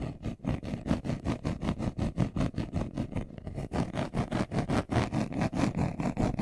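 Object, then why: Leather-covered glasses case. A brown leather-covered glasses case, hand-sized, hollow and closed, is held in both hands while short nails and fingertips scratch its surface fast. About 33 quick, dull, rhythmic scratching strokes follow one another at roughly two to three per second, mostly low in tone with little brightness, each dying away quickly.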